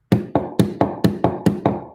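A softer 53 mm urethane street skateboard wheel, one that feels muffled when riding, is knocked eight times in a steady series. Each knock is a short, dull, woody tap centered low around 200 Hz that dies away almost at once, sounding slightly different from a hard wheel.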